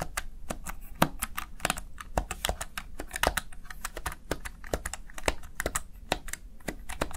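Fingertips press the keys of a Razer Tartarus Chroma, a plastic backlit gaming keypad, seen from the side. A quick, uneven run of short, crisp plastic clicks and taps fills the clip, each with a bright tick that stops almost at once. A steady low rumble sits underneath.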